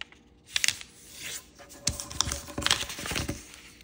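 A small, thin, bright kaleidoscope-pattern origami paper sheet is folded by fingertips, and its creases are rubbed flat on a table. Sharp, bright paper crinkles and crisp snaps stand out over softer rustling and sliding swishes as the sheet is creased and smoothed.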